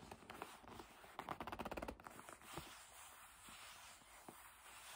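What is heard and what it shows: Long nails tap and rub the surface of a hollow black leather bag held in the hands. Soft scratchy rubbing runs throughout, with a quick burst of light, crisp taps in the middle and a few scattered clicks later on.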